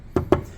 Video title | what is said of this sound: Laminate vs Veneer vs Solid Wood | when you tap on it, it's just like a plastic thud